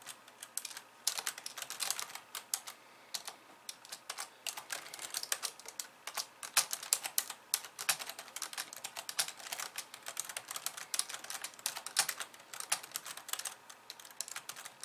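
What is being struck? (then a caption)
Plastic computer keyboard. Long polished nails type rapidly with both hands on the plastic keys of a compact pink and white keyboard. The result is a dense, continuous stream of short, bright, crisp clicks and taps with no low end and almost no ring, rising and falling in bursts throughout.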